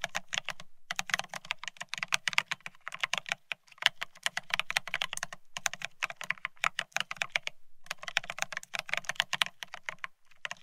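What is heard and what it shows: A Bear65 mechanical keyboard with blank white matte ceramic Cerakey keycaps on a steel plate, resting on white cloth, is typed on rapidly with the fingertips of both hands. Fast, bright, clacky keystrokes with a crisp high edge come in dense bursts separated by brief pauses. Each click is short and dry, with a faint low thock under the clatter.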